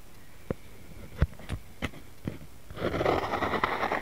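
Fingertips and nails tap on top of a round white plastic jar lid with a printed label, hollow underneath and lying on a mat. Five sharp, spaced taps with a dull low thump are followed by a dense, brighter scratching across the lid for the last second or so.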